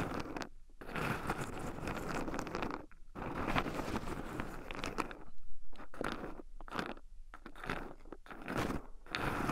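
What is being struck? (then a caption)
Shelled pine nuts in a wooden bowl stirred with wooden chopsticks. Two wooden chopsticks stir and poke through a small wooden bowl heaped full of raw shelled pine nuts, with nuts also rubbing against two black microphones buried in the pile. Dense, crunchy scratching and rustling fills most of the clip, broken by several brief near-silent pauses between bursts of stirring.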